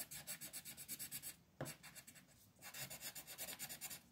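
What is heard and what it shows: A multicolor striped wooden pencil rubs and scratches yellow coloring onto a flat printed paper coloring sheet on a desk, while the other hand with red nails holds the sheet. Rapid, bright, raspy back-and-forth strokes fill the clip, broken by a short quieter pause with a single sharp tap before the steady scribbling resumes.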